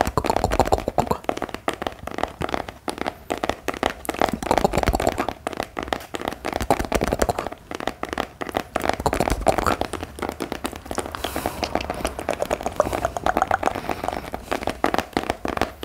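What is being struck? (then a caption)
Cloth-covered hardcover notebook. A medium black hardcover notebook with a textured cloth-like cover, solid, held upright and tapped and scratched with the fingertips of both hands. Dense, rapid taps and scratchy rustles run steadily throughout, with a muffled mid-range tone and short, dry hits.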